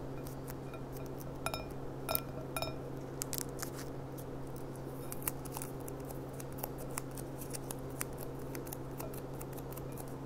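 A clear, empty glass goblet with a gold rim lies on its side while long painted nails tap its bowl. The result is a series of short, bright clinks, some ringing briefly, over a steady low hum.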